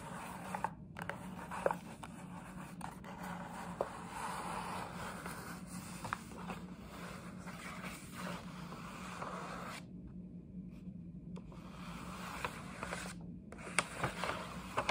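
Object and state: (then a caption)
Paper gift bag scratched with nails. Long nails scratch and tap the side panel of a printed paper gift bag, close up. A steady, soft papery scraping and crinkling fills the clip, broken by short sharp clicks from the taps. A faint low hum runs underneath, with brief pauses in the scratching near the end.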